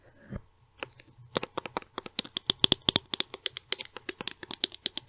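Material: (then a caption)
Plastic. Long nails tap a small white and silver plastic cosmetic tube held in one hand, producing 29 quick, dry, bright clicks with almost no ring, pitched around 3.4 kHz. After a soft rustle, the taps come slowly at first, then build into a steady, rapid rhythm.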